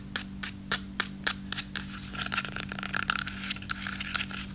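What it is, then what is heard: Dry crunchy breadstick. Long acrylic nails tap and scratch a single long, dry baked breadstick with a solid crunchy crust, held upright and then sideways. Crisp, evenly spaced taps give way to denser, rapid scratching and crackly rasps, over a faint steady low hum.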